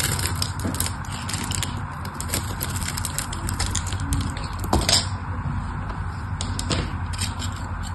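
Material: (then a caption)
Soap. A craft knife blade scores and carves small cubes out of a solid pink rectangular bar of soap with a criss-cross pattern, held in a hand with long orange nails. Dense, crisp scraping and crackling cuts run continuously over a steady low rumble, with a slightly louder, brighter cut near the five-second mark.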